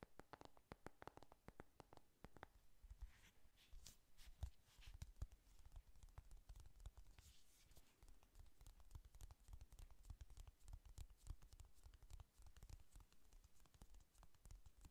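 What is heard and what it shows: A closed, hand-sized, flat pink "Honey Lust" eyeshadow palette with a printed cardboard cover is held up and tapped and scratched with long manicured nails. A quiet, steady stream of rapid, dry clicks and scratchy taps runs throughout, each hit stopping almost instantly, with a low, muffled body and brief bright edges.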